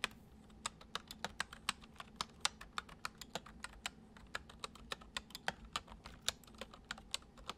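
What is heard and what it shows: Fingertips type on a full-size white plastic computer keyboard resting on a wooden desk, producing a steady run of about 31 short, crisp key taps over a quiet, low background hum. Each click is bright and dies away almost instantly, with the taps falling in a gentle, slightly uneven rhythm.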